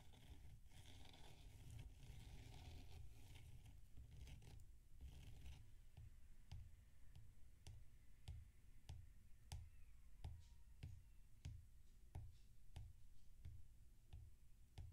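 Fingertips rub and pat the surface of a large, solid dome of damp packed sand resting on a metal-rimmed plate. For the first few seconds there is a soft, continuous gritty rubbing and scraping. It then turns into a steady series of dull, low pats, each with a faint bright click.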